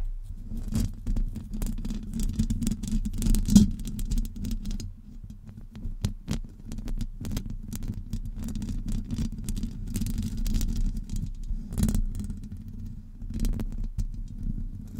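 Long acrylic nails scratch and tap the hollow domed metal mesh grille of a Blue Yeti USB microphone, producing a steady low rumbling patter around 200 Hz. Scattered sharper, brighter taps and scrapes stand out over the dense scratching throughout.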